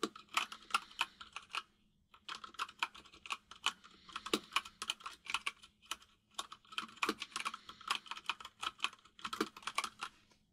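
Both hands type with their fingertips on a compact mechanical keyboard with white and grey plastic keycaps, producing quick runs of bright, sharp clicking key taps. The typing pauses briefly around two seconds in, then continues in uneven bursts over a faint, steady low hum.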